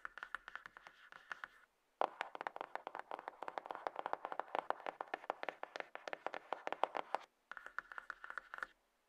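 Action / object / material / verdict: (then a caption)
tap / cardboard box / cardboard / none. Long nails rapidly tap and scratch the top and side of a hollow, light grey cardboard iPhone box resting on a table. They make dry, clicky taps with a papery scrape and almost no low end. The taps come in dense bursts with two brief silent pauses.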